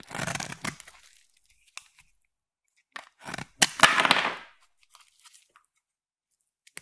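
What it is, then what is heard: Soap bar being carved. A palm-sized solid blue bar of soap is cut and shaved with a utility blade and then a craft knife, and flakes peel off. Crisp cracking and scraping strokes come in two longer bursts, with scattered small bright clicks and crunches between them.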